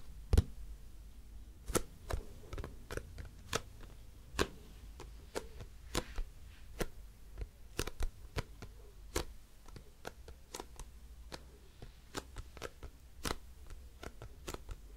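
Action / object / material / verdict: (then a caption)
tap / plastic cosmetic bottle / plastic / none. A hollow grey plastic cosmetic bottle with a white cap is held up and tapped and scratched with long nails. A rapid, irregular series of short, dry clicks and taps rings out, each with a bright snap and almost no ring. Faint scratching runs between the taps over a steady low hum.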